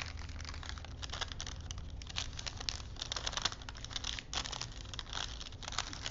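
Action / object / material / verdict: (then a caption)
scrape / thin paper film strip wound on wooden spools / paper / none. Fingertips wind a thin printed paper strip between wooden spools and flex the paper, crinkling it. Dense, bright crinkles and soft crackles run steadily throughout, with slightly louder flurries, over a low, steady hum.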